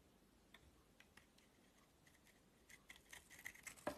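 A solid oval bar of soap with a purple shell and white core is held in the hand and shaved with a metal utility knife blade. Quiet, crisp scraping ticks start sparse and irregular, then grow denser and louder toward the end, each one short and bright with almost no ring.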